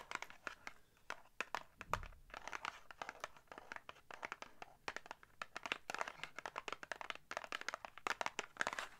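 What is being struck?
Small paperboard box.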